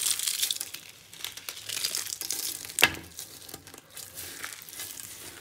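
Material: Soap.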